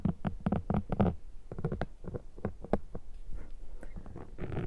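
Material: Foam.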